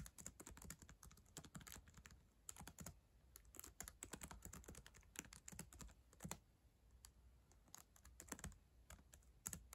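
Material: Plastic.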